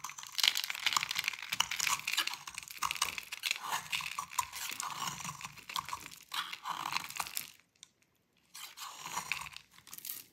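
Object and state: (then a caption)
Dry bar soap. A metal utility blade cuts into a dry, solid rectangular blue Fa bar soap, breaking off brittle chunks. The sound is dense, bright crunching and crackling made of many rapid small cracks with almost no low end. It pauses briefly near the eight-second mark, then resumes.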